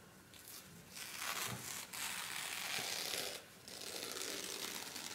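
Fingertips press, rub and flip the sheets of a loose stack of folded thin white paper napkins on a wooden table, with an emptied pack lying untouched nearby. Bright, dry rustling and crinkling comes in bursts, with a short quieter pause before it resumes.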